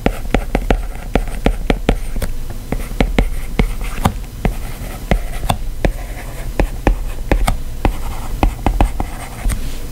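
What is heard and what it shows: A plastic stylus tip taps and scratches across the solid glass screen of a white iPad while handwriting lines of text. About 27 short, sharp ticks click out in an uneven rhythm, with soft scratchy strokes between them over a steady low hum.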